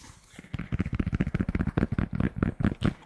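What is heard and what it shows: Fingertips tap and scratch the embroidered front of a red Toronto Blue Jays polyester fitted baseball cap with a structured crown, held hollow and empty in both hands. A quick, uneven run of dull, low, hollow thumps is heard, mixed with a light scratchy rustle, and each tap dies away almost at once.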